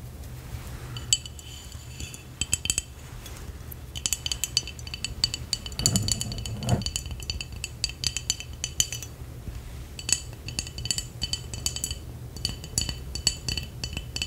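A medium glass Vlasic pickle jar with a blue metal screw lid and a paper/plastic label, full of pickles and brine, is held in the hands and tapped and scratched with long acrylic nails. Quick, bright clicks and clinks come in irregular bursts over a steady low hum, with a denser scratching stretch near the middle. Each tap is short and dry, with almost no ring.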